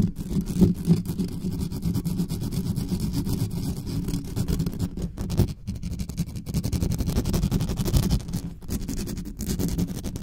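Long acrylic nails rapidly scratch the hollow metal mesh grille of a large black condenser microphone from both sides. The result is a dense, continuous, low rumbling scrape centred around 200 Hz with almost no bright content, holding a steady level with brief dips near the middle.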